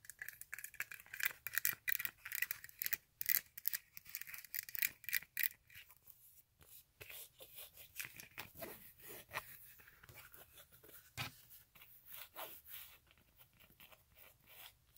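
Long nails scratch and tap at the straps, insole and sole of a silver glitter fabric stiletto high-heel sandal. A quick run of sharp, dry, bright scratchy bursts gives way after about six seconds to softer, denser rasping with almost no low end and no ring.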